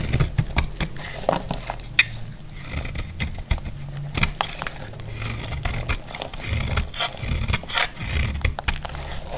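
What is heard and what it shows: A solid rectangular dry purple soap bar, held in the hand, is shaved across its surface with a metal utility blade. Repeated dry cutting scrapes with sharp, bright crackles sound over a steady low hum, each stroke ending abruptly with no ring.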